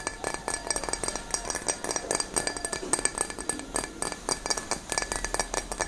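A clear, empty stemmed glass wine goblet, held in both hands, is tapped and scratched rapidly with long nails. The result is a quick, continuous run of bright, glassy clinks with high ringing tones that die away almost immediately, mixed with soft scratching.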